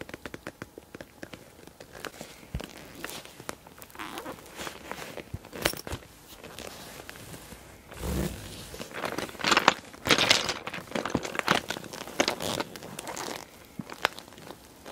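Hands with long dark nails grip and squeeze a small clear PVC cosmetic bag with pink trim, full of glass nail polish bottles. Bright plastic crinkling and crackling mix with short, sharp ticks from the bottles inside. The squeezes grow denser and louder in the second half before easing off.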